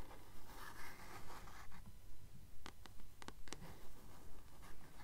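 A paperback copy of The Titan's Curse is held in both hands while long nails tap and scratch its glossy front cover. Soft scratching swells in a steady, regular rhythm over a low hum, with a few sharp, bright clicks of nail tips striking the cover partway through. The sound stays quiet and close throughout.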